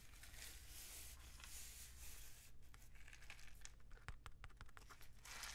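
A long, hollow, painted cardboard rainstick with a mesh-wrapped end is held in both hands and tilted and turned so its filling cascades down the tube. A steady, bright rushing hiss over a low hum thins out into scattered crisp ticks and patters, then swells back into a full rushing pour at the end.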